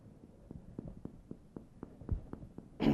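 A person's back over the lungs is percussed by tapping the middle finger of one hand with the middle finger of the other in a hammer motion. Eleven soft, short, hollow taps sound at a steady pace, ending in a louder, broader burst. The resonant, air-filled sound marks a normal, healthy lung.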